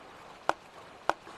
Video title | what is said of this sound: Los herederos de Stradivarius - Documental | Hay algo que lo obstruye. El sonido raspa. No tiene un tono claro. Hay dos tonos.